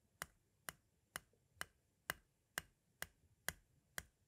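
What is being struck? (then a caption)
Plastic audio cassette. A metal-tipped tool taps crisply around the tape window of a white, hollow plastic audio cassette. Nine short, bright clicks sound at a steady pace, each dying away almost at once.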